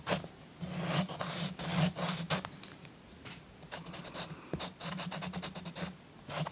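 A green chalk stick is scratched rapidly back and forth over the tree area of a paper coloring book page resting on a soft cloth. Bursts of dry, bright scratching come in quick, uneven strokes with short pauses between them, over a low steady hum.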